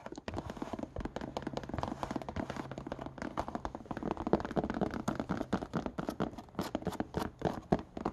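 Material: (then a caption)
Suede, rubber. Fingernails scratch quickly along the stitched rubber sole rim and the suede of a brown suede slipper with a knit upper. The result is a dense stream of short, dry scratches and taps, mostly mid-range with a little low body, that keep shifting in rhythm throughout.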